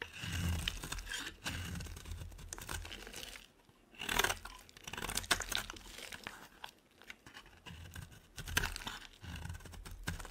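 Fast scraping strokes of a utility knife carve off the corner of a solid white rectangular bar of soap, and flakes fall away. Dry, crunchy shaving and crumbling sounds come in quick bursts with bright crackle, separated by brief quieter pauses.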